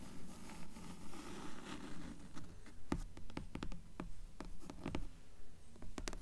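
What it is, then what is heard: Hardcover book, nail tapping. Long nails tap rapidly on the cover boards of a dark grey hardcover book. The taps are short, dry clicks that die away almost instantly, coming in a loose, fairly steady run over a quiet, low, muffled background.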